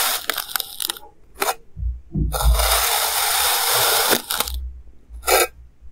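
A clear plastic knife slices a solid, hand-sized mound of purple kinetic sand into thin layers. A few short, crisp crunching cuts lead into a long, bright, gritty scrape, with dull low thumps underneath. A couple more brief cuts follow.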